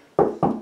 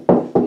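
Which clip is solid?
The first.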